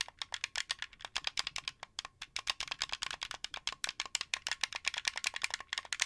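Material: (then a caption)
Plastic. Fingertips and nails tap and click the buttons and shell of a translucent blue hollow plastic Xbox 360 game controller. About 41 short, dry, bright clicks come in a quick, uneven stream. Each click stops almost instantly with no ring.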